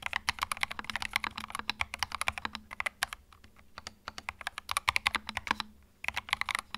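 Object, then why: Plastic mechanical keyboard. Fingertips type on a small white 65% mechanical keyboard with plastic keycaps and a hollow plastic case, resting on a felt mat. Rapid, bright, clacky key strikes with very short decay come in quick bursts, with a quieter, sparser stretch in the middle and a brief pause before a final flurry.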